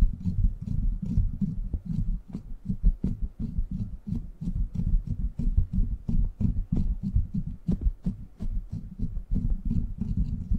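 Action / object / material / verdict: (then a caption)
scrape / steel mesh microphone grille / steel mesh / none. Fingertips and short nails scratch the hollow, rounded steel mesh grille of a silver microphone. The result is a continuous run of dense, low, booming rustles and thumps, broken by short scratchy ticks that reach up into the highs.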